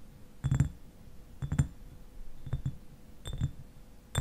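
Fingernails tap the upper glass near the cap of a clear glass eyewash bottle that stands upright and is partly filled with liquid. The taps come in quick pairs about once a second, with a final tap at the end. Each is a short, dull, low knock with a faint bright click that dies away almost instantly.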